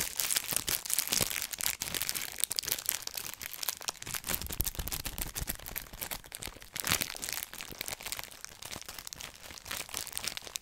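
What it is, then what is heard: Cellophane-wrapped cardboard box being crinkled. A small rectangular blue-and-white cardboard box in clear plastic wrap is held in one hand while fingertips squeeze and rub the wrap. A dense, continuous run of bright, high crinkles and sharp crackles lasts the whole clip with very little low end.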